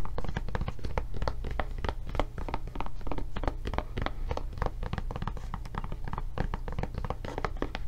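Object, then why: Silicone rubber tablet case. Long nails tap rapidly on a blue silicone rubber tablet case with its handle flap raised. The taps are dull, muffled thuds, heavy in the low end with almost no bright content. Each stops at once with no ring, forming a dense, steady patter.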